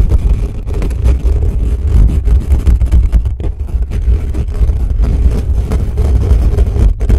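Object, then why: Metal mesh microphone grille. Fingertips of both hands cup and scratch fast across the bare metal mesh grille of a black condenser microphone with a hollow head, partly covering it. Close to the capsule, this comes out as a dense, steady, deep rumble with quick rough bursts, almost all low-end thump and almost no bright content.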